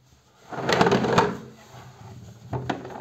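Hands hold and turn a hollow, closed, medium-sized white cardboard storage box with a lid, printed with a cartoon bear pattern and partly colored in with markers, while fingertips rub and tap its sides and lid. A dry, papery rubbing swells up for about a second, then fades to a faint scratch. Sharp, hollow taps follow near the end.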